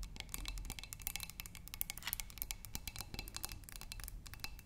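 Long manicured nails tap and scratch the sides of a tall, clear glass vase partly filled with water and holding red tulips. A rapid, irregular stream of sharp, bright clicks with very short ring mixes with thin scratching over a soft low rumble. The taps stay quiet and steady throughout.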